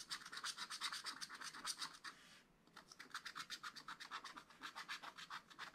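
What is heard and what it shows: A wooden stylus scratches fine lines into a black wax-coated scratch-art paper page held flat in a spiral pad. The result is dense, quick, bright scratching in rapid, slightly uneven strokes, with a brief softer pause midway before the strokes resume.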